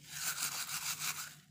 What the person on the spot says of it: कढीपत्ता छान भाजून झाल्यानंतर यात मंद असा छान खुळखुळ आवाज येतो